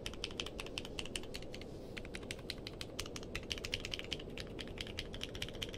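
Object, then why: Mechanical keyboard with plastic keycaps. Fingertips type quickly on a compact mechanical keyboard with a purple case and white and dark plastic keycaps, resting on a blanket. A steady stream of bright, crisp clacks rides over a constant low background hiss, with a brief lull near the two-second mark.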